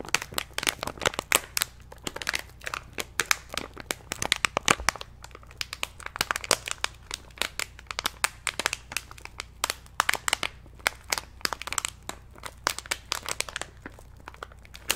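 Fingertips crinkle and rub the top of an orange-and-white plastic stand-up snack pouch with a nutrition label, held close in front of a microphone. Dense, bright crackling and crinkling continues throughout in quick, sharp bursts with almost no low end.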